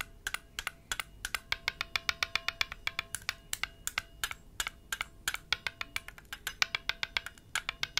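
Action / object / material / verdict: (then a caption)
tap / hollow enamelled metal baoding ball / enamelled metal / none. A single palm-sized, blue enamel-painted hollow metal Chinese health ball is cupped in one palm while the fingertips of the other hand, wearing rings, tap it repeatedly. About 47 quick, bright, clicky taps come in an irregular patter, each dying away almost at once. A faint steady metallic tone runs underneath.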